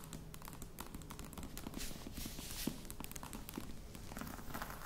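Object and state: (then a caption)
Faux leather box. A croc-embossed faux leather box is held at both ends while fingertips and nails scratch and tap its sides. Soft, dry taps with almost no ring mix with brief, bright scratching rasps over a low, quiet rumble, making a steady, gentle stream of close textured sounds.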